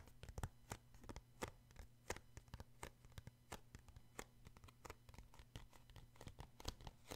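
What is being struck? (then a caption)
Paperback book with a card cover. Fingertips tap and scratch the glossy card cover of a paperback book, making a quick, irregular run of short dry clicks with soft scratchy rubbing between them. Each tap dies away almost at once over a low steady hum.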